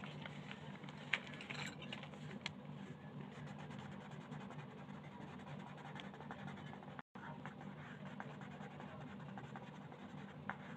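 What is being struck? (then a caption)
Wooden colored pencil scratching a paper page. A wooden colored pencil tip scratches steadily across a thin printed paper coloring page lying flat on a plastic-covered table as the page is colored. The quiet, dry scratching runs continuously with a few sharper bright ticks, over a steady low hum, and breaks off in a brief silence about two-thirds of the way through.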